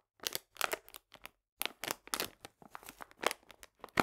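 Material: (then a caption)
Paper. A full paper cane sugar bag, held upright, is pressed and crinkled with fingertips and long nails. A quick, uneven series of short, dry, bright crackles and crunches comes with almost no ring, broken by a brief pause partway through.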